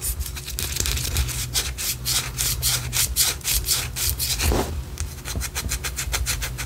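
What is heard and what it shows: Long orange acrylic nails scratch along the side of a large white solid wax pillar candle held in the hands. It makes a rapid run of bright, dry scraping strokes over a steady low hum.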